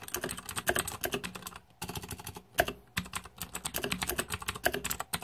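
Fingertips type rapidly on the plastic keycaps of a green-backlit Razer 2014 Deathadder mechanical computer keyboard. Bursts of sharp, bright key clicks and clacks are heard, separated by brief pauses near the middle.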